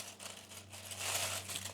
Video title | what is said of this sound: Super knusprige Grünkohl-Chips aus der Heißluftfritteuse in nur 5 Minuten | You can already hear it: They're really crunchy